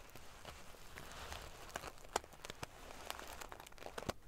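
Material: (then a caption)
Metal sequins. Long painted fingernails scratch and ruffle a large decorative pillow covered in rows of small silver metal sequins sewn onto fabric. A soft, steady, prickly crinkling rustle runs throughout, broken by sharp, bright metallic clicks and ticks that die away instantly.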